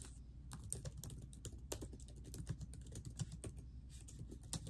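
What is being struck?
Laptop keyboard with plastic keys.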